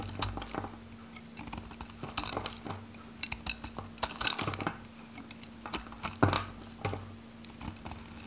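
A metal knife slices cubes and chips off the edge of a solid, varnished, dry pink Godrej No.1 soap bar held in the hand. Quick, dry crunching cuts and sharp bright clicks scatter through the clip over a steady low hum. A louder snap stands out near the end as a piece breaks off.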